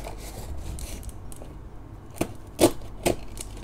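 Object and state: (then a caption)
Cardboard box being cut. A metal hobby knife scrapes and slices along the taped seams of a small closed corrugated cardboard box with a shipping label and packing tape, held on a dark table. Soft, steady scratching strokes on the cardboard are followed by three sharper, louder cuts with a bright, dry rasp that stop almost instantly.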